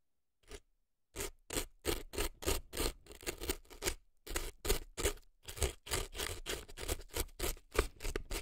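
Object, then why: Floral foam inside a silicone ear, scraped with a thin earpick. A thin dark earpick scrapes crumbly dry floral foam packed in the canal of a right silicone elf ear, making a quick series of dry, crunchy scratching strokes. After one short stroke and a brief pause, the strokes repeat in a steady, slightly uneven rhythm, each a gritty burst with a bright edge and a soft low thump, dying away almost instantly.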